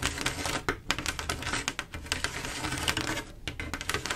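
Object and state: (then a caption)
Mirror glass mosaic tile panel. Long acrylic nails tap and scratch fast across a flat panel of silver mirror-glass mosaic tiles with grout. The result is a dense run of sharp, bright clicks over a scratchy hiss, with a faint low hum underneath.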